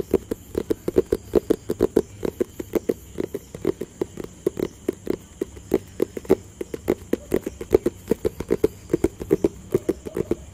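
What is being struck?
Cardboard product box.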